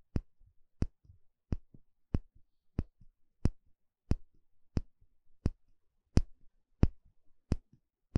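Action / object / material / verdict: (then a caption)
tap / small empty bamboo bowl / bamboo / none. A thin plastic pick pokes and scratches the inner surface of a small, shallow, empty bamboo bowl held in one hand. Thirteen quiet, short, dull taps land at a steady pace, each followed by a softer, brief scratching rustle. The taps carry mostly low, woody thumps with a faint bright click on top.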